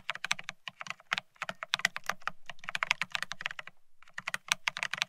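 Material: Ceramic.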